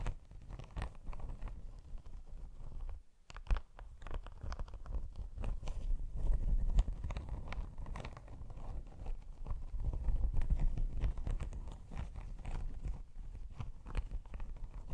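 Long pink nails scratch across a padded faux leather laptop sleeve with an embossed, iridescent holographic snakeskin pattern. The result is a steady stream of soft, dry, crackly scratching with low rumble, brief quick strokes and occasional brighter clicks, plus a short near-silent pause around the third second.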